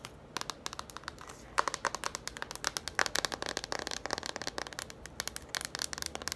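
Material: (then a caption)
Cardboard. Long nails tap and scratch quickly across the cover and spine of a yellow cardboard children's board book. The result is a rapid run of short, dry, crisp clicks with bright scratchy texture, each dying away almost at once, and very little low end.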